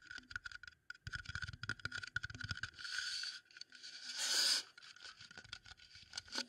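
A wooden bowl is tapped and scraped up close, giving a run of quick, dry, bright taps with short scraping passages between them. Two longer, louder rubbing sweeps stand out in the middle before the light tapping resumes. It is gentle, detailed ASMR-style handling.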